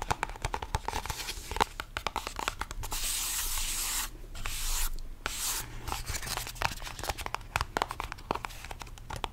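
A small purple cardboard box, likely holding a deck of cards, is held in both hands as fingertips tap and scratch its surfaces. Quick, dry taps and scratches sound throughout, broken by longer hissing rubs in the middle, over a low steady hum.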